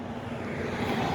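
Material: Nothing is struck.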